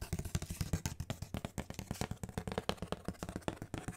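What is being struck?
Corrugated cardboard sheet.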